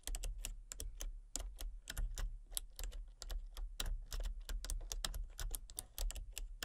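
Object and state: Plastic computer keyboard being typed on.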